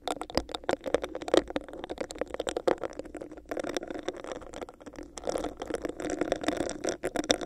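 Long nails tap and scratch a hollow, clear, bumpy textured plastic cup held over a microphone. The result is a dense, uneven run of sharp clicks and rustling scrapes with a hollow midrange tone around 516 Hz and bright ticks on top.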